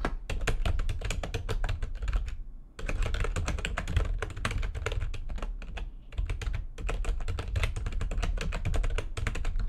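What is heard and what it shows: Fast typing with long nails on a full-size plastic backlit computer keyboard produces a dense stream of sharp, bright clicks over a low, thumpy body. The typing runs steadily with two brief pauses, at about 2.5 and 6 seconds.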